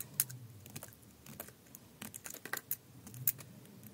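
A utility knife blade shaves slices off a thin remaining piece of solid green bar soap held in the hand. A quick series of crisp, bright scraping cuts and clicks rises over a faint low background.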